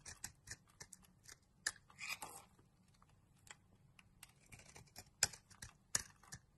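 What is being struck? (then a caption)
Bar of soap shaved with a metal knife blade. A solid light blue Teo soap bar, held in the hand, has its surface shaved with a metal utility knife blade into powdery curls. The result is a series of short, crisp, bright scraping strokes at an irregular pace, a couple of them longer and rougher, with no ring after each cut.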